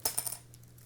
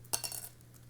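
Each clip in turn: First: dark-toned guitar pick, low resonance. Second: medium-resonance guitar pick dropped on a table.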